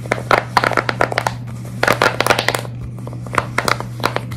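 Long red nails scratch, tap and squeeze-grip a large square tie-dye silicone pop-it with hollow, flexible bubbles. Bursts of quick, crinkly clicks and scratches come in clusters, with quiet gaps between them, over a steady low hum.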